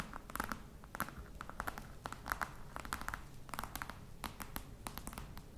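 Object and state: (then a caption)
Faux leather box tapped and scratched with nails. Long nails tap and scratch the top of a hollow black croc-embossed faux leather box. Rapid, dry clicks with a slight mid-pitched knock and bright edges mix with soft scratching over a low background rumble. The taps stop quickly with almost no ring.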